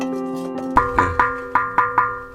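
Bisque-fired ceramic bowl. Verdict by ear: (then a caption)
Sound. Bisque-fired ceramic bowls, just taken out of the kiln, are tapped to check for cracks. Each tap gives a short, clear ring near 1 kHz, and seven separate taps are heard. The clear ringing means the bowls are uncracked, since a dull sound would signal a crack.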